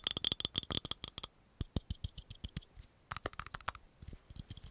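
A small, hollow, round green plastic cream jar with a patterned lid is tapped and scratched quickly on its lid and sides with long fingernails. The clip opens with a dense burst of sharp clicks with a bright ring, then pauses briefly before lighter, scattered taps and scratches resume. The taps are short and crisp, with little low-end body.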